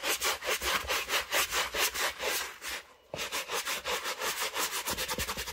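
A black full-grain leather Birkenstock Mary Jane shoe, covered in soap lather and held in one hand, is scrubbed firmly with a wooden-handled bristle brush over the upper and the textured sole. Rapid, bright, rhythmic scratching and rubbing strokes repeat steadily, broken by a brief near-silent pause around three seconds before the scrubbing resumes.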